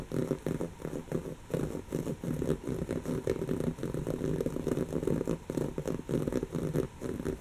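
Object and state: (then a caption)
Woven fabric pillow. Long natural fingernails on one hand scratch a soft, stuffed, brown textured woven-fabric cushion. A steady run of quick, scratchy rustling strokes comes in rhythmic bursts, with a muffled, papery grain concentrated in the low-mid range.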